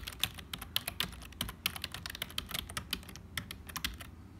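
Fingertips of both hands type continuously on a black HP full-size plastic keyboard with a hollow build. The result is a quick, uneven stream of dry, bright clicks and clacks with very short decay over a soft low rumble.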